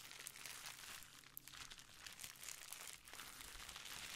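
A clear plastic bubble wrap sheet is held up while fingertips and nails rub and scratch across its surface. The result is a steady, bright crinkling and scratchy rustle with quick small crunches and little low-end weight.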